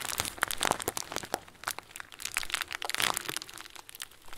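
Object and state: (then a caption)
Plastic bag of small plastic beads. A clear, hand-sized plastic bag full of small white plastic pearls is bent and squeezed with both hands. It makes quiet, dense crinkling with sharp, bright crackles and short crunches that stop almost at once, with little low end.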